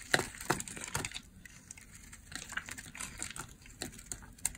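A blade shaves crumbly curls off a hand-held, oval, purple bar of dry solid soap. A quick, uneven series of sharp, crunchy, bright scraping cuts breaks apart, with short crackly bursts and quiet gaps between.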